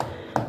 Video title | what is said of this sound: Tukang Asal Asalan hasilnya seperti ini ‼️ | pasti ketok-ketok tuh isinya kopong